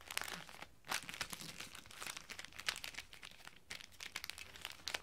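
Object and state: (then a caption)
Gift-wrapped hardback book, crinkling wrapping paper. Fingertips tap and rub a flat rectangular hardback book wrapped in shiny silver-and-black metallic Christmas wrapping paper as it lies on a glass table. The result is a steady run of bright, crisp paper crinkling with quick light taps, broken by short quiet gaps, and almost no low end.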